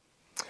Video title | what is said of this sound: First Time Trying This Knife Makers IMPRESSIVE Work | the clip could be touching the scale I wish that was happening